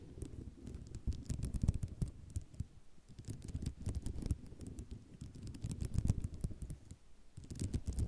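Long nails tap quickly across a white ceramic mosaic tile sheet, producing dense, uneven runs of short, dry clicks and light rattling. The clicks stop almost instantly, over a soft low rumble, and the tapping swells and fades in several bursts throughout.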